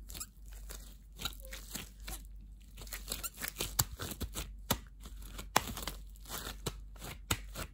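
Thin, translucent clear plastic disposable gloves on both hands are squeezed and scrunched, with the loose glove material making crunchy, crinkly sounds. Irregular bright crackles and sharper pops come and go over a faint, steady low hum.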